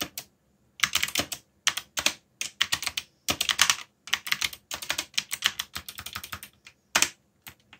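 Fingertips type continuously on a backlit black plastic mechanical keyboard with Korean keycaps. The result is bursts of sharp, bright clicks with short pauses between them. Each click is crisp and stops almost at once.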